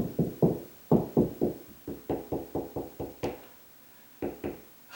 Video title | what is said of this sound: Installing Ceiling Fan How to Locate Ceiling Joist With Tape Measure & Nail? | higher pitch and I can tell it's more solid right there